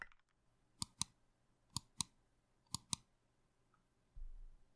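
Fingertips tap the black GMK keycaps of a compact 65% Plum Iron 165 mechanical keyboard with a plum-red aluminum case. Six sharp, bright clicks come in three quick pairs, each with a brief low thock underneath. A softer low rumble follows near the end.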